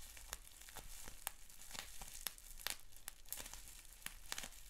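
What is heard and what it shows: Fingertips squeeze, pop and crinkle a sheet of clear plastic bubble wrap with small bubbles. Sharp, bright pops break out irregularly over a continuous crackling crinkle, with a low rumble underneath throughout. Each pop is a quick snap that dies away almost instantly.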